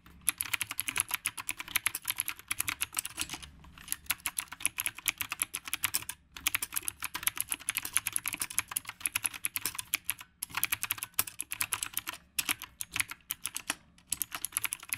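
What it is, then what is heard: Mechanical keyboard with round plastic keycaps, fast typing. Fast fingertip typing on a retro typewriter-style mechanical keyboard with round plastic keycaps produces a dense stream of bright, crisp clicks. Each keystroke is sharp and dies away almost instantly, with little low end. The rapid patter runs continuously, broken only by a few brief pauses.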